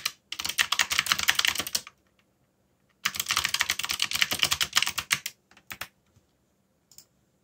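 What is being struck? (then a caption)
Plastic mechanical keyboard. Fingertips type on a backlit mechanical keyboard with dark plastic keycaps, producing bright, sharp clicks. Two bursts of rapid, uneven keystrokes are separated by a short pause, followed by a few scattered single taps.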